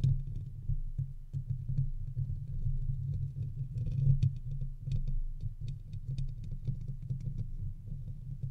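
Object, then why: Metal wire-mesh microphone grille. Both hands scratch and tap the hollow round metal wire-mesh head grille of a large silver condenser USB microphone, its foam cover removed, using fingertips and short nails. The result is a dense, continuous patter of rough scratching and soft thumps, heavy and boomy in the low end with a hum-like tone around 130 Hz. Faint bright ticks sit above it.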